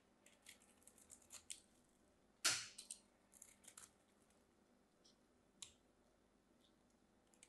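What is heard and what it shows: A solid, cream-colored, palm-sized bar of soap is held in the hands and scraped and cut with a metal craft knife, shedding dry, crumbly flakes. Eleven short, crisp, high-pitched scrapes and crunches are heard, with one louder, longer cut midway that trails off quickly.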